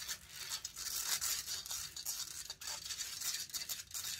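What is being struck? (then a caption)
Metal mesh microphone grille scratched with nails. Long nails scratch the hollow metal mesh grille of a large silver condenser microphone, making a dense, bright, hissy rasping with almost no low end. The scratching comes in rapid uneven strokes, drops off briefly about midway, then picks up again.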